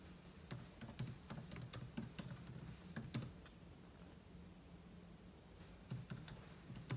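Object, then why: Laptop keyboard with plastic keys. A single fingertip slowly taps the plastic keys of a silver aluminum laptop, with an open book lying untouched beside it. Short, dry, bright clicks come in bursts, then pause for a couple of seconds before resuming, over a steady low hum.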